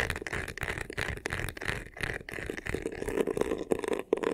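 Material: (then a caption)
Faux leather. Fingertips and short nails scratch and rub the sides and top of a medium black crocodile-embossed faux leather vanity case with a clear handle, a hollow box. The result is a fast, dense, continuous scratching with a rough textured rasp, a hollow boxy tone and a mid-pitched resonance that grows stronger toward the end.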